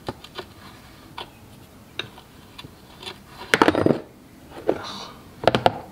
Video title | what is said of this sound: Cub Cadet Kohler K301 Catastrophic Engine Failure Tear Down | there's chunks of metal coming out